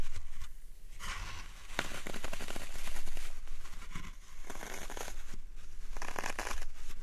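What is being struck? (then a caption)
Green floral foam block. Fingertips and nails press and poke the sides and top of a dry, solid green floral foam block, a roughly hand-sized cube already covered in dents, resting on a wooden tray. The foam gives off dense, bright crackling and crunching in bursts that swell and fade over a low, steady rumble.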